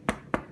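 Two short, dull knocks on the bottom of a sourdough loaf baked in a pot, each giving a brief hollow thud that dies away almost at once. The hollow sound shows the loaf is baked through.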